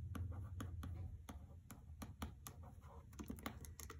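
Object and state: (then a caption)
Paper-jacketed hardcover book. Long nails tap and scratch on the paper dust jacket of a hardcover copy of the novel "The Trespasser" resting on carpet. Quick, sharp clicky taps land at an uneven pace, with soft scratchy rustling between them over a low, steady rumble.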